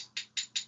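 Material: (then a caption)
Metal. A single metal coin is shaken against a metal finger ring inside a closed hand, producing three bright, high-pitched clinks with very short ring. It sounds like two coins clinking together, so the number of coins held is misleading.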